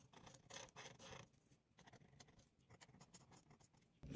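A hand with long pink nails rubs a marker's tip back and forth over a thin white coloring-book page lying on a dark table, coloring in a bottle drawing. Quiet, dry scratching and rasping strokes come in quick bursts, with longer, louder passes early on and a sharper, louder scrape at the very end.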